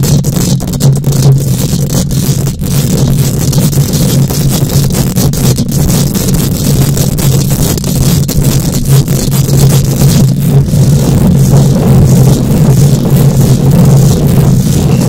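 Long acrylic nails on both hands rapidly scratch and tap the bare, round steel wire-mesh grille of a large condenser microphone, which is hollow and about fist-sized. The result is a dense, continuous, loud scraping and rumbling sound, heavy in the low range with a steady hum-like tone and scattered sharp clicks throughout.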